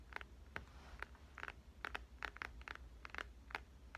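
A dark, phone-sized smartphone with a glass and metal body is held horizontally in both hands and tapped with dark-painted fingernails and fingertips. About a dozen short, crisp, hollow clicks centered around 1.5 kHz die away almost instantly over a quiet, steady low hum.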